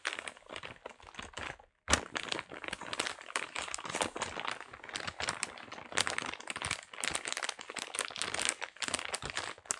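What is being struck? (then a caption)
Paper-wrapped parcel. A brown kraft paper parcel is held in both hands and crinkled, with the fingertips squeezing and scratching the paper. Dense, bright crackling and crunching bursts continue almost without pause, broken only by a brief silence near the two-second mark.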